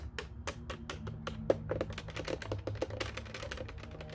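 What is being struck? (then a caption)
Plastic telephone keypad. A black plastic office telephone keypad has its buttons tapped and clicked with fingertips and nails in quick, uneven succession. The sharp, bright clicks are short and dry, with a faint pitched tone near 530 Hz on some presses. A steady low hum sits underneath.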